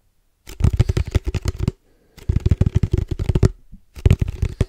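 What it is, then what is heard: Hollow plastic tube tapped by fingertips. Fingertips and nails tap quickly on a hollow black plastic padel ball tube with red stripes, held up close. Three bursts of rapid, dull, hollow knocks come with short pauses between them, each tap low and thumpy and dying out almost at once.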